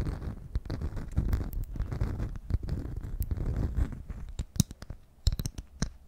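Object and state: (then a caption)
Beeswax food wrap. Fingernails slowly scratch a beeswax-coated cloth food wrap held close beside the mic. The sound is a dense, low, rumbling scratch full of crackles and brief bright ticks. It thins toward the end into sparser, sharper clicks and crinkles.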